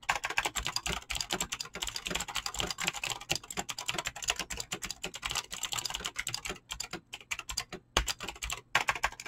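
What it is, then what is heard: Mechanical keyboard with clicky switches and PBT keycaps. Fingertips type fast on a mechanical keyboard with clicky green switches and PBT plastic keycaps, producing a dense run of bright, sharp clicks with very short decay. A few brief pauses break the steady rhythm.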